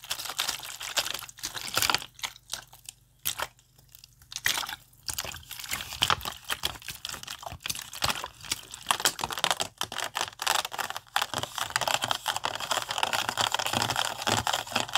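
An empty, thin plastic water bottle with a label is squeezed and crinkled with both hands. It gives bright, dry crackling and crunching, with short quiet gaps in the first few seconds. The crinkling then grows into a dense, nearly continuous rustle toward the end.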